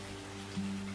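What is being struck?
Nothing is struck.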